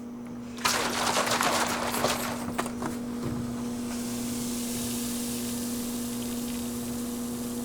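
A container of yeast starter, wine with added sugar water, is shaken in a burst of sloshing, rattling noise that lasts a couple of seconds. It then settles into a steady, bright fizzing hiss over a constant low hum, showing the starter is actively fermenting and ready.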